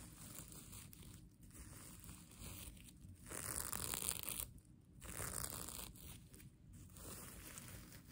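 The plastic sequin fabric of a mermaid tail blanket is held up while fingers and nails scratch and flip the sequins. The result is a continuous, crinkly, scratchy rustle with a bright hiss on top. It swells into louder, denser bursts around the middle and again shortly after, with brief quieter pauses between them.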